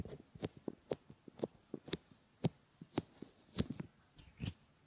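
Fingertips with short painted nails rub and stroke around a pair of realistic solid silicone ear models on flat silicone pads, which serve as binaural microphone ears, working into the ear canals. Soft, close, irregular rubbing bumps and muffled, low-heavy thuds come at roughly two per second, some with brief bright scratchy edges. The whole clip stays quiet.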